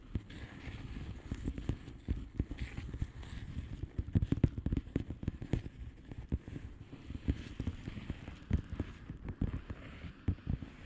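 Long painted nails of both hands tap and scratch the bubbles of a blue plastic bubble wrap mailer lying flat. The result is a steady stream of soft, dull, low thuds and crackly scratching, with quick taps that stop dry and little high-end sound.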